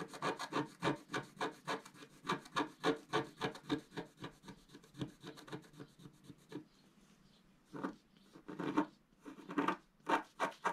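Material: Coated paper.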